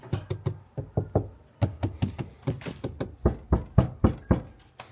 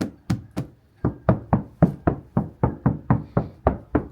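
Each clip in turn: First: sound-deadened steel door panel, muted. Second: untreated steel door panel, hollow.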